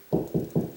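Knocking along a drywall ceiling near the next joist, about 16 inches on, gives four separate low, hollow thuds centered around 380 Hz with short decays. This stretch sounds hollow, marking a gap between ceiling joists.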